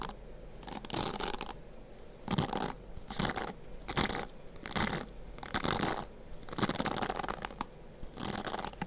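Fingertips scratch and rub across the dense bristles of a white plastic hairbrush held close to a binaural microphone. Repeated bursts of crisp, bright, scratchy rustling rise and fall, separated by quieter pauses over a low steady background hum.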